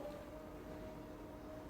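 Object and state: Nothing is struck.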